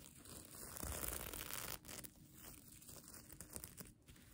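Fingers and nails brush and scratch the plastic sequin fabric of a mermaid tail blanket. A dense, crinkly scratching and rustling runs throughout, loudest in the first half. After that it drops to a softer, more scattered crackle.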